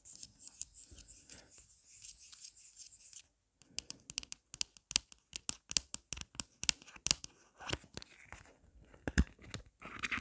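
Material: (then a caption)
Plastic. Long black nails scratch across the back of a marble-print plastic phone case with a pop grip, making a steady, bright rasping for about three seconds. After a brief pause, they switch to fast, sharp clicking taps on the back and edges, which continue to the end.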